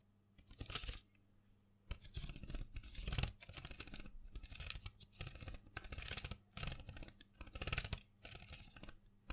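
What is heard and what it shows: A small printed cardboard box full of colored pencils, held in the hand, is tapped and scratched with long fingernails. Bursts of dry, papery scratching and quick taps come in clusters, with bright high hiss over a low hum.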